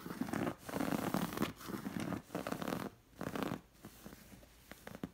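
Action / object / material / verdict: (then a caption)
scrape / linen cushion with stitched appliqués / linen / none. Long nails scratch along the stitched elephant and figure appliqués on a linen cushion. They make dry, rasping strokes that come in uneven bursts with brief pauses between them. The scratching is full-bodied at first, then grows quieter and lighter toward the end, broken by a few small taps.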